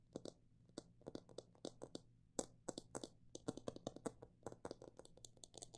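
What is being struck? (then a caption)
Plastic jar filled with seeds, tapped with fingernails. Long black nails tap on the sides of a clear plastic jar full of mixed bird seed. The taps come in an irregular run of short, dry, crisp clicks, some quick and some spaced apart, each with a hollow mid-range knock and a bright tick that dies almost at once. A faint low hum sits underneath throughout.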